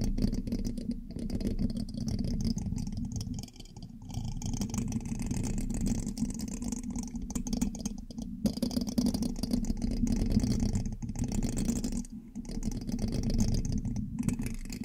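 A thin metal pin held in the fingertips scratches and taps across the black metal mesh grille of a large, hollow USB microphone. The result is a continuous, close, rasping scrape full of quick ticks, heavy in a low hum-like body around 200 Hz, with brief quieter pauses near the 3.5 and 12 second marks.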